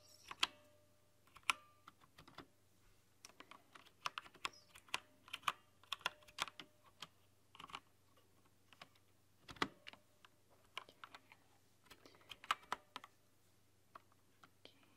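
Fingertips and long nails type on an RGB-lit mechanical keyboard with translucent plastic keycaps. Irregular bursts of sharp, bright plastic clicks and clacks decay almost instantly, with a faint steady low hum underneath and quiet gaps between them.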